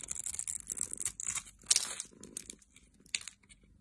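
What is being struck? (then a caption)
Bar of soap. A metal utility blade scrapes and slices the scored surface of a solid oval bar of teal soap held in the hand, and soap cubes pile below. Dry, bright crunching and tearing-like scrapes come in quick, uneven bursts, with a few sharper cuts standing out.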